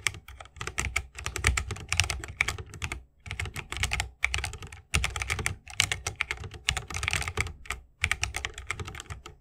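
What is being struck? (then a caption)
Mechanical keyboard, bamboo case, plastic keycaps. Continuous two-handed fingertip typing on a 60% mechanical keyboard with Holy Panda switches, a bamboo case and plastic keycaps. Rapid bright clacks ride over a low thocky body, with short pauses near 3, 4, 5 and 8 seconds before the steady run of keystrokes picks up again.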